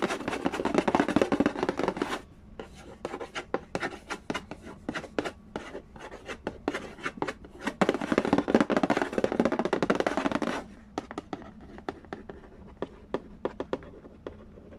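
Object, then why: Printed cardboard board game box lid. Fingertips tap and scratch the glossy surface of a hollow, printed cardboard Candy Land board game box lid, with the sound growing closer by the end. Bursts of dense, rustling scratching alternate with stretches of quick, irregular, dry taps that have a hollow, low-mid knock and short, bright clicks.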